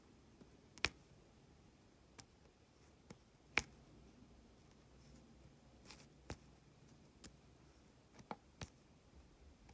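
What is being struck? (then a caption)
Resin diamond painting drills on adhesive canvas, tapped with a plastic drill pen. A plastic drill pen with a metal tip presses and taps small, solid, faceted resin diamond painting drills one by one onto a flat, sticky adhesive canvas. Nine quiet, sharp, bright clicks arrive at irregular intervals, each dying away almost instantly over a faint, steady background hiss.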